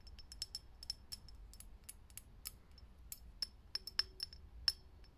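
Long nails tap quickly and unevenly on a lit, hollow, clear glass vintage filament light bulb, giving around fourteen bright, high clinks. Each tap dies away almost at once over a faint low rumble.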